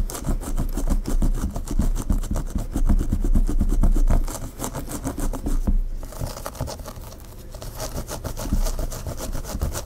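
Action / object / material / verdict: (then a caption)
scrape / hair on a mannequin head / hair / none. Long pink fingernails on both hands scratch and rub the hair at the nape and hairline of a mannequin head with a dark hair bun and a cream claw clip. The result is a fast, uneven run of scratchy rubbing strokes with a heavy low rumble. The strokes briefly dip near the middle, then continue a little softer.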